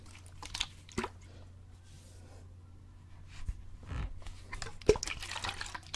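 A clear plastic bottle with a gray cap, partly filled with water, is held horizontally in both hands close to the mic and sloshed from side to side. Soft, irregular sloshes and splashes rise over a steady low hum, with a few sharper, bright splashes. The movement grows busier toward the end.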